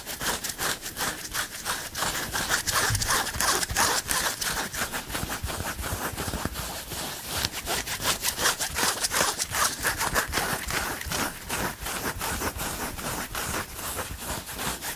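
Both hands scratch with fingertips and nails across the chest of a dark green printed long-sleeve shirt, likely cotton, worn over the body, away from a foam microphone. The soft fabric gives rapid, fairly steady strokes of bright, rasping scratching that continue throughout.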